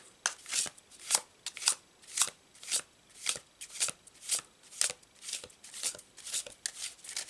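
A full deck of laminated paper tarot cards with a checkered blue-white back is held in both hands over a cloth tablecloth and given an overhand shuffle, fingertips riffling and sliding the cards. Their edges rub and snap together in a steady series of short, bright, dry swishes, with little low end and no ringing.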